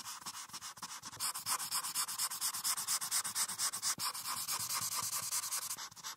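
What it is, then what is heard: Marker coloring on paper sheet. A marker's felt tip, held in the fingertips, rubs vigorously back and forth across a printed paper coloring sheet clipped flat and solid to a clipboard, filling in a blue background. The quick, steady strokes make a dry, bright scratchy hiss with a midrange tone around 1 kHz and almost no low end. After a softer, uneven start, the rhythm settles into a fast, even scrubbing that briefly pauses around the four-second mark.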